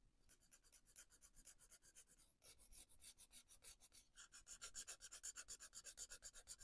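A fine-tipped felt marker, held in a hand with dark nails, outlines and colours a paper colouring book page on a desk in short, scratchy strokes. The result is a steady, bright, rasping scratch at about four strokes per second. The strokes grow louder and harsher partway through, and the last two seconds are the loudest.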